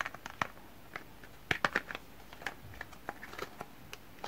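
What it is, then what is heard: Cardboard soap box. Fingertips rub and scratch along the surface and edges of a small printed cardboard soap box while turning it over. Quiet, dry scratching and crinkly rustle are broken by short, sharp clicks and taps that die away almost instantly, with a denser burst near the middle.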